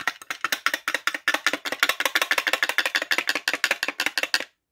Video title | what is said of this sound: Reglette Industrielle 1960 / Partie 1 | et quand on secoue on entend le condo